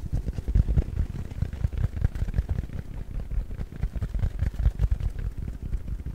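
A soft, round, palm-sized yellow porous foam sponge is scratched and squeezed with fingertips and nails. The result is a steady stream of rapid, muffled low thuds and soft crackles, with almost no bright content.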